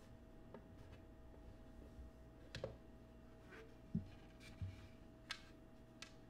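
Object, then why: Cut glass oval dish. Fingernails tap and scratch the patterned underside of an empty clear cut glass oval dish, first while it sits on a table and then while it is lifted and held. Quiet scratching runs underneath a handful of sharp, irregular taps that give short dull knocks with brief bright clicks and almost no ring. A faint steady hum sits under everything.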